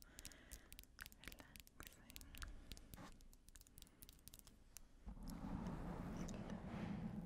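A black foam windscreen covering a microphone is rubbed and scratched with long painted nails and fingertips. Quick, crackly scratches with sharp bright clicks come first, then around five seconds in the sound turns into a louder, steady rubbing swish with a low rumbling body.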